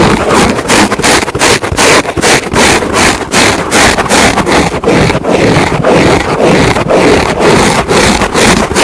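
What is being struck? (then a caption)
Foam car sponge. A large yellow porous foam car sponge lies flat with a microphone placed on it and is scratched with the long nails of both hands. Loud, dense scratching and rasping fills the clip in quick, uneven strokes, with broadband crackle reaching bright highs and a lower muffled rustle underneath.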